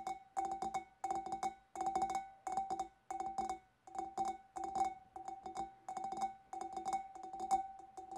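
Long dark nails tap the lower sides of a large, clear, empty glass fish bowl held in both hands. Quick clusters of light, clicky taps come in short bursts, each carrying a clear mid-pitched glassy ping with bright overtones that fades almost at once. The bursts repeat irregularly with brief pauses between them.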